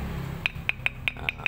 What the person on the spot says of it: bunyinya beda ya. Nah, kalau ini kurang keras. Karena ini biasanya jenis Jasper